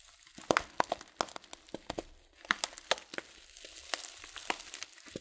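A filled, glossy coated-paper tea packet of loose-leaf tea is crinkled between thumbs and then tilted. It makes a series of sharp, dry, bright crackles with almost no low end, each snapping off quickly. Toward the end, a soft, continuous rustle rises under the last few crinkles.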